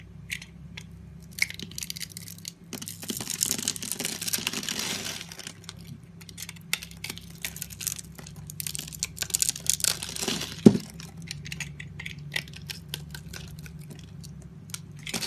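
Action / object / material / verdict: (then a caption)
scrape / bar of soap / soap / none. A solid rectangular yellow bar of soap with an embossed logo, held in hand, is cut and scraped along its scored grid with a dark utility blade, so small cubes crumble off. Dense, crisp scraping and crunching with many short, dry clicks and crumbles is heard over a low steady hum, louder in bursts around the middle and with one sharp snap near the end.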